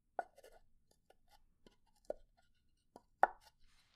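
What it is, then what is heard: Pine wood box. A pine wood box is tapped and scratched, and its wooden lid is knocked wood-on-wood. Four short, dry knocks centered around 760 Hz stand out over soft scratching, each dying away almost instantly.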